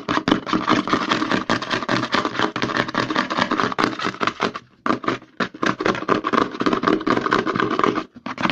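Fingertips and short nails tap and scratch rapidly on the back label of a white plastic CeraVe lotion bottle held upside down. The result is a dense, fast stream of hollow plastic taps and dry scratching, with brief pauses near the middle and just before the end.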